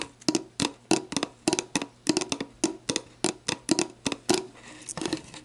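Long black nails tap and scratch a clear, hollow, mostly empty plastic sports drink bottle lying on its side, working over its base and the barcode area of the label. About twenty quick, crisp taps ring out, each with a hollow plastic knock and bright click and almost no ring. A brief softer scratching stretch comes near the end.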